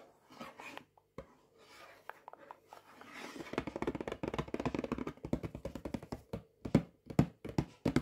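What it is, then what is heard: Cardboard food box tapped and scratched. Fingertips and nails tap and scratch the printed cardboard front of a Paxo sage and onion stuffing box, likely full and lying flat. Quiet, scattered scratches and taps at first build into a dense flurry of dull, short, low-toned taps, ending in a few louder, more spaced-out knocks.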